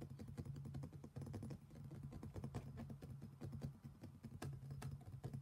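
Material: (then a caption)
Stone. Fingertips and nails tap and scratch the outer wall and rim of an empty, black, polished stone mortar, a medium, hollow bowl with thick walls. A quick, dense run of light, clicky taps overlaps soft scraping, each tap dying away almost at once over a low, hollow hum around 140 Hz.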